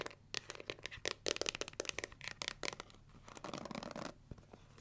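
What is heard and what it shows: Long nails scratch and tap the plastic back and edges of a pink plastic paddle hair brush, then scratch across its black pins. Quick, dry clicks and bright scratches come in rapid bursts with no ring, giving way near the end to a denser, steadier scraping.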